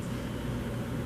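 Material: Nothing is struck.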